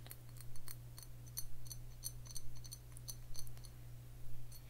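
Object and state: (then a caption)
Glass bottle tapped with fingernails. A clear glass Croft liquor bottle with a black cap and paper label, a little dark liquid in the bottom, is held in one hand and tapped with the fingernails of the other. Quick, bright clicking taps come in loose clusters and stop almost instantly, over a steady low hum.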